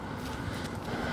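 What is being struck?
Nothing is struck.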